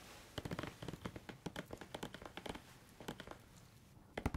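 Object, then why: Plastic squeeze tube of shower cream. A grey-white plastic squeeze tube of shower cream is held upright in both hands between microphones while fingertips tap it rapidly and squeeze it. Quick, dry, hollow taps come in irregular bursts with soft crackly squeezing in between. The taps are very short, with almost no ring, and the whole clip is quiet.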